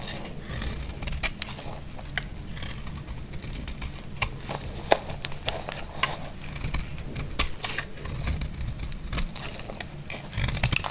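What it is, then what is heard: Dry bar soap being carved. A blade scrapes crunchy shavings off a partly carved, solid, dry green soap bar held in the hand. Crisp, bright crackling clicks and scrapes come in quick bursts over a steady low rumble, and each sharp snap dies away almost instantly.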